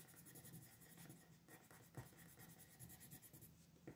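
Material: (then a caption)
Paper. A pink colored pencil is rubbed and scratched over a thin paper coloring sheet lying flat on a desk to color in small areas. It makes a quiet, continuous scratchy rubbing with a bright hiss, broken by a few slightly louder strokes.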